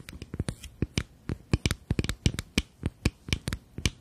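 Long nails tap rapidly along the sides of a small rectangular glass foundation bottle with a black cap, partly full of beige liquid. About nineteen quick, dry clicks sound in an uneven rhythm, each with a low knock and a bright tick on top. The taps die away almost instantly with no ringing.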